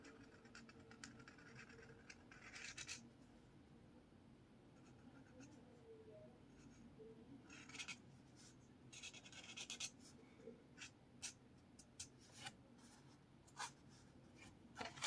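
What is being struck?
Marker on a lined paper spiral notepad.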